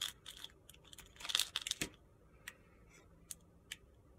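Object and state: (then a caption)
Soap bar being shaved with a blade. A steel utility-knife blade scrapes and shaves curls off the surface of a hand-sized, solid rectangular bar of pale pink soap held in the hand. It makes crisp, bright, gritty crunching strokes, quick and dense for the first two seconds, then thinning to a few sharp, isolated scrapes.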